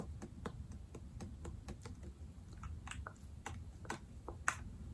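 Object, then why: Plastic pump soap bottle. Long dark-painted nails tap the sides of a medium foaming hand soap bottle, yellow/amber plastic with a white pump, hollow and apparently full of soap, held in both hands. The result is a quiet, irregular run of quick, light plastic clicks and ticks, each dying away almost instantly over a soft low background rumble.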